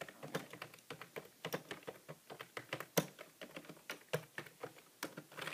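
Fingertips type continuously with both hands on a hollow grey plastic computer keyboard with plastic keys. Quick, dry key-press taps follow one another densely throughout, each with a short clack and almost no ring, in a steady irregular rhythm.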